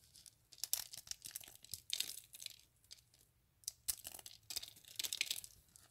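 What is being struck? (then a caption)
Dried soap curls. Fingers squeeze, snap and crush a small cluster of hollow, dry soap curls resting on soap flakes. It makes bright, crisp crackling and crunching bursts in several clusters, with quiet gaps between them. Each snap stops almost instantly with no ring.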